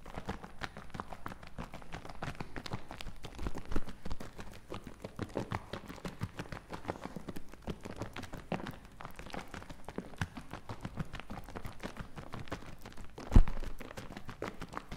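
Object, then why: Plastic bottle partly filled with liquid. A medium plastic bottle partly full of green liquid is held in both hands and shaken back and forth, making a steady, rhythmic sloshing with many soft, low, dull pulses. A single sharper, louder knock stands out near the end.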